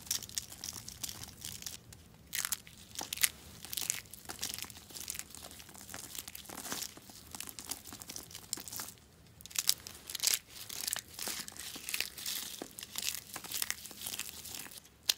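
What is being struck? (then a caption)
Pieces of bar soap. Broken chunks of dry yellow bar soap, solid brittle flakes, are squeezed and crumbled in the fingers over a mat. Dense, bright crunching and crinkling comes in quick bursts with short quiet gaps. Each crack is sharp and dies away almost instantly, with almost no low end.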